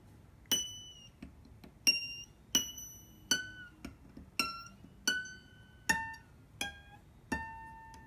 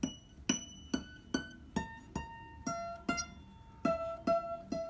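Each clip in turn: First: loose guitar locking nut. Second: secure guitar locking nut.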